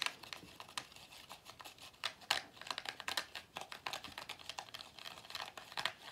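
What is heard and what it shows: Fingers squeeze and tap the black plastic or rubber end cap of a hollow pleated paper vacuum cleaner filter and rub along its pleats. The result is a rapid, uneven run of dry clicks and crinkly paper rustles, bright and thin with almost no low end, each tick dying away almost instantly.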